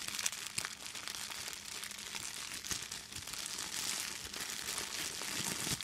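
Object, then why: Thin plastic bag. An empty clear plastic bag is held up and crumpled by both hands with long green nails. It makes a steady, bright crinkling with quick crackles and almost no low end, running continuously without pause.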